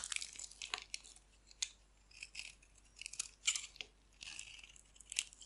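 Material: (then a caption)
Soap. A metal utility knife blade shaves and carves a hand-sized, solid bar of dry pink-and-white striped soap held in the hand, sending flakes falling off. Bright, crisp scraping and crackling bursts come in uneven strokes, with sharp ticks between them and almost no low end.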